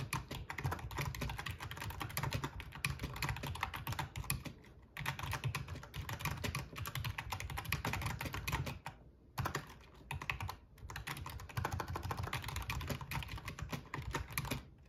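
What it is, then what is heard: Plastic membrane gaming keyboard. Fingertips of both hands type rapidly on a full-size black plastic RGB membrane gaming keyboard with a metal top plate. The result is a dense, steady stream of short, dry clacks with a heavy low thump under bright key clicks. The typing breaks off in a few brief pauses before resuming.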